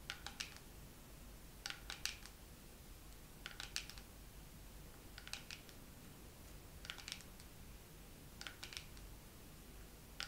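Long nails tap slowly on a dermaroller case. Six short clusters of bright, crisp clicks are spaced evenly over a low, steady background hiss, and each tap dies away almost at once.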